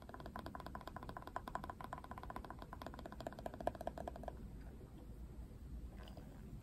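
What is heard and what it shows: Fingernails scratch along the ridged surface of the hard plastic back of a Barbie paddle brush, making a rapid run of fine ticking clicks with a faint ringing tone around 680 Hz. The clicking continues for about four seconds and then stops, leaving only a quiet low background.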